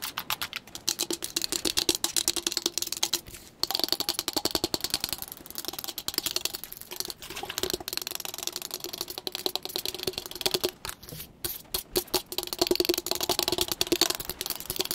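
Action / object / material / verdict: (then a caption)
tap / insulated powder-coated steel tumbler / stainless steel / none. Long pointed nails tap fast and hard along the body of a hand-held lavender insulated travel tumbler, a hollow powder-coated metal cup with a textured grip band. The result is a dense, continuous stream of sharp, bright clicks, each dying away almost instantly, over a faint hollow tone in the low-middle range. The tapping keeps a steady rush throughout, with only brief dips in pace.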